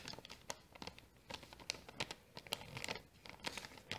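Long painted nails scratch a small, empty, hollow brown kraft paper bag while fingers crinkle it at its folded top. The result is a quiet, bright, dry stream of crackling and scratching with sharp, quickly fading snaps and little low end.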